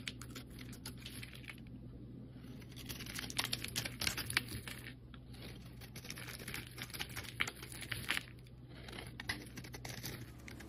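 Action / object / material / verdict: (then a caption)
scrape / bar of soap scraped with a metal blade / soap / none. A solid cream soap bar held in the hand is scraped with a metal blade, curling off flakes. Dense, crisp scratching and crackling runs throughout in quick bursts, bright and dry, over a steady low hum.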